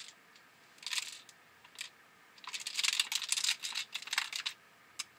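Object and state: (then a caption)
Airsoft shotgun with a loose internal part. An Elite Force semi-auto CO2 airsoft shotgun is shaken, producing irregular bursts of bright, short metallic rattling clicks concentrated in the high frequencies. The rattle comes from a loose part inside the gun, which appeared after it was taken apart to fix feeding issues; it has not been opened to confirm the cause.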